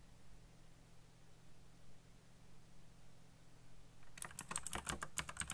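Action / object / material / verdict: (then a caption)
tap / plastic mechanical keyboard / plastic / none. After about four seconds of quiet low hum, fingertips tap rapidly on the hollow switches of a backlit black plastic mechanical keyboard with RGB lighting. About eleven quick, uneven keystrokes follow, each a bright, sharp clack with a short thocky low end that fades quickly.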